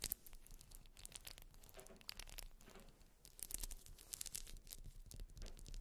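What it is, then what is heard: Wax pillar candle. Long nails scratch the top face and ribbed sides of a grey solid wax pillar candle with a scalloped top. Dense, dry, bright scraping strokes come in quick bursts over a faint low rumble, with almost no ring after each stroke.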